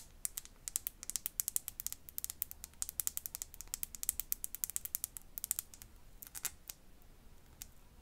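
A tiny glass bottle is tapped and scratched with the fingernails, giving a rapid, uneven series of sharp, bright clicks with almost no ring. The taps come in dense clusters that thin out and grow quieter near the end, over a faint low hum.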